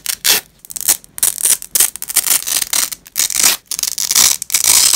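A black-gloved hand pulls a fastened purple nylon velcro strap apart on grey fabric. Repeated bright, rasping ripping bursts with short gaps between them, almost entirely high-pitched with no low end.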